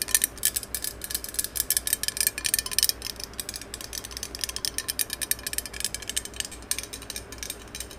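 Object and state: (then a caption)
Metal aerosol spray can. Long acrylic nails tap and scratch the cylindrical surface of a green metal aerosol spray can held close to the mic. The result is a dense, rapid stream of bright, clicky taps and scratchy rasps with almost no ring, steady over a faint low hum.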